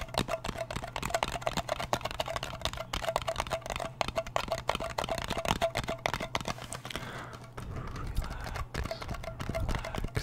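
Fingernails tap rapidly on the lid and side of a small round blue metal Nivea cream tin, making a dense stream of short, crisp clicks with a faint metallic ring around 640 Hz. A steady low hum runs beneath the tapping for about seven and a half seconds, after which the background shifts and the tapping continues.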